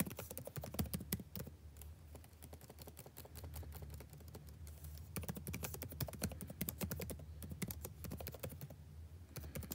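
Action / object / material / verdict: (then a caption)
tap / plastic laptop keyboard keys / plastic / none. Fast fingertip typing on a backlit laptop keyboard with plastic keys, the same keyboard throughout. A dense stream of short, crisp clicks and taps runs over a steady low hum, easing into lighter typing in the middle before picking up again.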